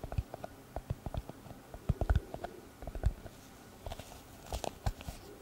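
A small, hollow brown leather pouch-style glasses case, held in the hand, is tapped and scratched with long red nails. It gives an irregular string of soft, dull, low thuds with very short decay, mixed with light scratching and occasional brighter clicks.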